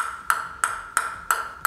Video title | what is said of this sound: Sunflex LSH SC Off+ [Lam Siu Hang] SUPREME Carbon | bunyinya tik-tik, bunyinya kecil banget